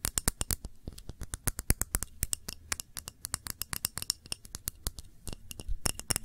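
Long nails tap the base and scratch the sides of a clear glass tumbler holding a red wax candle. A fast, uneven stream of short, sharp clicks with bright, glassy edges dies away almost instantly, with soft scraping between the taps.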